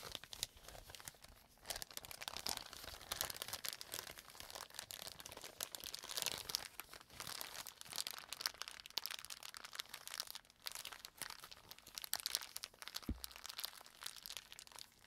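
A clear, empty plastic zip bag is held up, then crumpled and squeezed in both hands. The result is a steady run of bright, crisp crinkling and crackling that stays mostly high with little low end. There is a brief low thump near the end.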